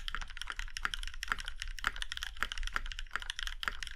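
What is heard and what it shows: Fingertips of both hands type steadily on an Iron 165 compact mechanical keyboard with a plum-red aluminum case and black keycaps. The result is a quick, even stream of crisp, clacky keystrokes, bright in tone and dying away almost instantly.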